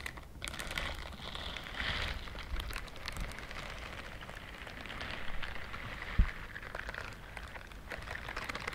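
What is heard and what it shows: A pink-white silicone dishwashing glove with bristled fingers has its bristle rows scratched by long nails. The result is a steady, dense run of fine, crisp ticking and rustling with a bright edge, plus one sharper, louder tap near the end.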